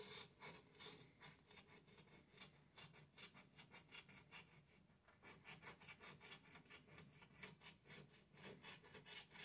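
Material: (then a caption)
Cardstock. A thin cardstock $50 "$10 Million" scratch-off lottery ticket lying on a light countertop has its latex coating scratched off over the number area in short rubbing strokes. The result is a dry, bright, raspy scraping in quick repeated bursts, with a brief lull near the middle before the strokes resume.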